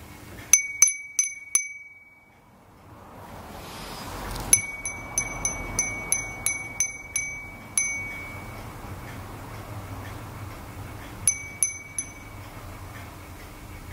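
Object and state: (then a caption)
Glass wind chime (furin). A small hollow glass furin wind chime with a painted flower design hangs from a string, held up by hand and swung so its clapper rings against the glass. About 17 quick, bright, high-pitched dings with a strong tone near 2.3 kHz are heard in irregular bursts, first four, then a longer run of about nine, and finally a few more. Each ring fades fast over a soft rising background hiss.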